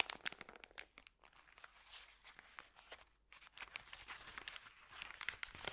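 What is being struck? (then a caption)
Thin paper bag. Hands unroll and flatten a thin, empty, crumpled white Subway paper bag. It makes quiet, dry crinkling and crackling that sits mostly in the high range, with almost no low end. The bursts are dense and rapid, with brief lulls near 1 and 3 seconds.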